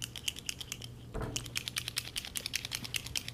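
A gold paint marker is shaken to get it started, and the small metal mixing ball inside rattles to mix the paint. It makes rapid, bright clicking rattles, with a brief low thump just past the one-second mark. The rattle is the normal sign that the ball is moving inside the pen.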